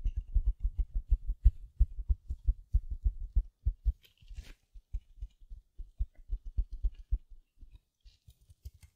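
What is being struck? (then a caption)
Mesh-wrapped foam sponge. A small silver glitter mesh-covered foam sponge is held in both hands, scratched with long nails and squeezed. Dozens of quick, soft, low thumps and scratches patter in an uneven rhythm, broken by a brief bright crinkle partway through before the tapping resumes more quietly.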